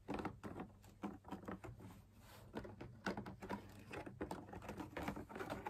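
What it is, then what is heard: Fabric drum lamp shade. Fingertips and nails tap rapidly on the outer wall of a hollow, perforated, fabric-laminated drum lamp shade, producing soft, dull, hollow pats with brief clicky edges. Each tap dies away almost at once over a faint, steady low hum.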